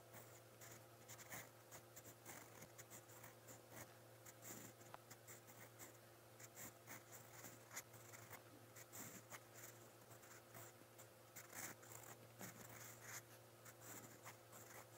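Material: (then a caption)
Paper. A silver steel fountain pen nib scratches across a lined white page of a spiral notebook, writing brown ink strokes. Quiet, bright, papery scratching comes in short bursts and strokes over a steady low hum throughout.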